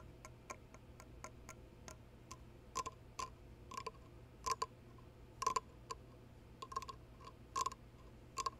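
Fingertips and painted nails in fingerless lace gloves tap the stem, then the cup body, of an ornate, hollow, empty dark cast-resin goblet with red dragon panels, a steel rim and a red gem on the stem. The result is a quiet, irregular series of short, dry clicking taps, with a faint tone near 1 kHz that dies away almost immediately.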